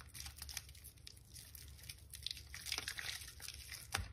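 A white bar of soaked soap, still solid but softened, is squeezed, kneaded and rubbed by both hands in a basin of soapy water. Soft, wet squelching and bright crackling, crinkling sounds come in quick bursts, over a low background rumble.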